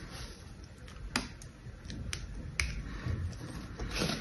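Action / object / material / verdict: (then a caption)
scrape / soap bar scored with a knife blade / soap / none. The tip of an orange utility knife scores and scratches a grid pattern into the surface of a palm-sized, solid soap bar with a gold-painted patterned face, held in one hand. Crisp, bright snapping clicks stand out from a soft, continuous scratchy hiss, all over a low background rumble.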